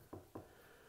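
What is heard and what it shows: Two knuckle taps on a sheetrock ceiling over a wooden floor joist give short, dull knocks with little ring. The spot sounds solid, showing where the joist is.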